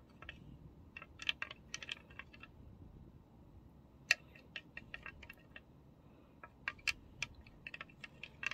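Fingertips and nails tap and click around the rim and bowl of an empty, thin-walled, medium-sized pink glass serving dish with a wavy, flower-like rim, held in both hands. The result is a rapid, irregular series of bright, sharp glassy clicks that die away almost instantly, a few landing louder than the rest, over a quiet background.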